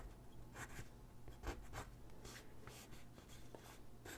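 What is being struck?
Graphite pencil on a paper sheet on a wooden desk.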